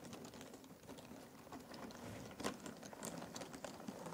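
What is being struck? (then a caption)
Loose cardboard jigsaw puzzle pieces in a box. Fingertips rake and stir through loose cardboard jigsaw puzzle pieces in a box, producing a steady, quiet stream of soft clicks and dry rustling. A few sharper taps stand out, with the loudest near the middle, and each sound dies away almost at once.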